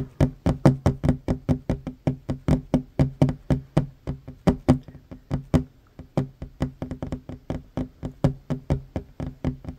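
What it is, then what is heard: Wooden table tapped with fingernails. Short fingernails on one hand tap quickly on a solid wooden tabletop, about 40 crisp, separate knocks with a low, woody body around 137 Hz and almost no ring. The steady tapping thins briefly around the six-second mark, then picks back up at the same fast pace.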